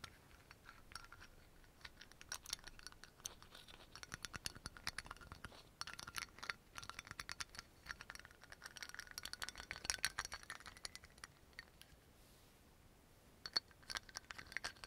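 The black dropper cap of a brown amber glass dropper bottle is quickly opened, closed and scratched with nails, making dense, bright clicking and scratching with very short, dry ticks. The rattling scratches run nearly continuously, fade to a quiet lull near the twelfth second, then return as a few sharp clicks at the end.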